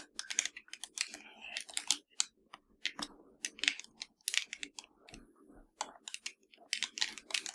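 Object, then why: Plastic game controller. Long nails tap across the buttons and hollow shell of a black plastic PS4 controller. The result is rapid, irregular, dry clicks and taps that are bright and thin with almost no low end, each dying away almost instantly.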